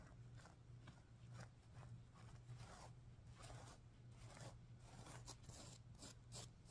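Fingertips and nails rub and scratch across the sequins on the pink side of a stuffed sequin pillow. The result is a run of soft, bright, brushy scraping bursts over a steady low hum.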